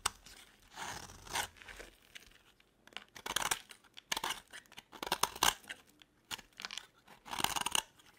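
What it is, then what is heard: Dry bar soap being carved. A metal utility blade carves shavings off a solid yellow bar of dry soap held in the hand. Short, bright, crisp scraping bursts come in irregular strokes with no ring, and a few louder strokes stand out.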